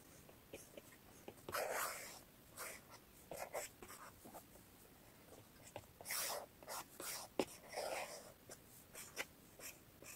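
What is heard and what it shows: The plastic tip of an Apple Pencil taps and strokes across the glass touchscreen of an iPad in a blue case, lying flat on a wooden table, while drawing. Quiet, dry scratchy swishes of varying length alternate with short, sharp clicking taps, all bright with little low end and almost no ring.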